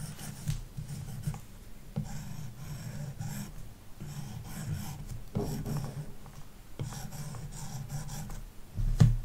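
A plastic stylus tip fills in a shape on a large iPad glass touchscreen fitted with a matte screen protector, resting on a wooden desk. Repeated scratching strokes make a steady, low, dull rasp with soft scattered ticks. A louder tap comes near the end.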